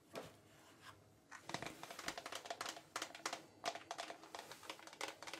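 Fingers tap on the wooden cover of a Maria Doll journal, a traditional Mexican toy item. After a couple of isolated taps, a quick, uneven series of light, dry, clicky knocks follows, each with a short, slightly hollow ring.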